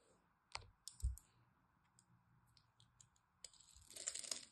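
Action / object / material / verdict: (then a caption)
scrape / bar soap / soap / none. A blade scrapes and cuts into a solid green dry bar of soap scored into cubes, so the cubes crumble off. Sharp, dry clicks and a couple of low, soft thumps are followed by a denser, bright crunchy scraping at the end, over a faint steady hiss.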